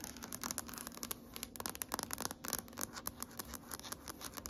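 Long nails on both hands scratch and tap across a large, solid gray wood-grain tabletop. The result is a quiet, steady flurry of quick, bright clicks mixed with dry scratching, each tap dying away almost at once.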